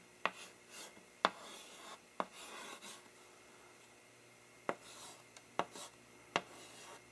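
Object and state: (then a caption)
Chalk writing on a blackboard. A green-gloved hand scratches chalk across a medium, flat blackboard with a light wooden frame, held upright in the other gloved hand, writing "Thank You for Wat…". Eight sharp, bright chalk taps stand out, with soft, raspy scraping strokes between them in a quiet space.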